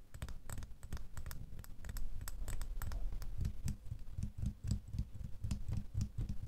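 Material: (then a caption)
Metal. A small, solid metal door key lies in an open palm and is tapped with several fingernails. The result is a rapid, irregular patter of light clicks, each with a soft low thump and a faint bright tick that dies away almost at once.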